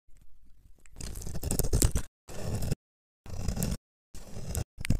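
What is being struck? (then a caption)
Bar of soap scraped with a knife. A metal knife blade scrapes and carves a small, solid, rectangular bar of very dry yellow-amber soap held in one hand, cutting off crunchy shavings. After a few faint, soft ticks, dense, gritty crunching scrapes come in short bursts separated by brief silences, with a heavy low body and little brightness.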